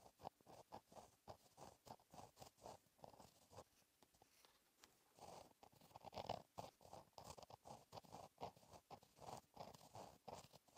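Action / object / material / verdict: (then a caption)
scrape / gel pen on paper notebook page / paper / none. A gel pen with a metal tip writes cursive on a flat black lined paper notebook page, producing a steady run of soft scratching and gliding strokes. Quiet, dry scratches cluster in the midrange around 700 Hz, with brief bright edges on each stroke and a short pause in the writing near the middle.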